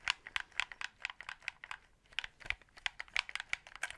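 Fingertips click the buttons and triggers of a white hollow plastic game controller held in both hands close to the mic. A rapid, uneven run of sharp, bright plastic clicks with almost no low end and no ring pauses briefly around the middle before continuing at a soft, steady level.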